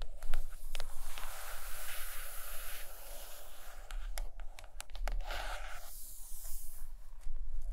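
Long acrylic nails scratch and tap the solid cover of a large purple hardcover book lying closed on a carpet. Steady, bright, scratchy rustling is broken by short, sharp taps that die away almost instantly, over a faint low hum.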